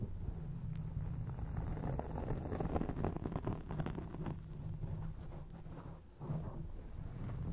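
Long acrylic nails scratch across a grey foam microphone windscreen, producing a dense, continuous low rumble and muffled rustling with almost no high content. The scratching stays fairly steady, dips briefly near the six-second mark, then picks up again.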